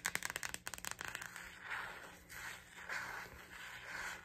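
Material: Plastic.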